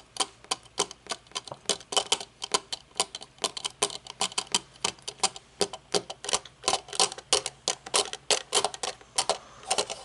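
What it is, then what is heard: Metal-frame sunglasses tapped. A small pair of aviator-style sunglasses with a thin metal frame and mirrored lenses lies folded on a wooden table while long polished fingernails tap and fidget on the lenses and frame. About 54 rapid, crisp clicks come in a steady, uneven ticking rhythm, each bright and dry with almost no ring and little low end.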